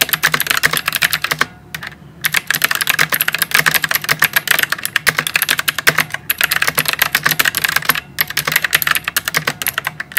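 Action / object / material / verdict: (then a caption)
tap / plastic mechanical keyboard with round keycaps / plastic / none. Fingertips type continuously on a white full-size plastic mechanical keyboard with round typewriter-style plastic keycaps and RGB lighting, beside a microphone that is not touched. Rapid, bright, clicky keystrokes patter in dense bursts, with brief pauses near the two-second mark and near eight seconds.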